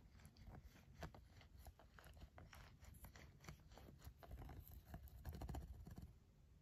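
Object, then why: Silicone glove. A red pen tip scratches and taps across the smooth dotted surface of a green silicone glove. Quick, soft clicks and rubbing scratches run continuously over a low, muffled rumble. The sounds grow a little louder toward the end before fading slightly.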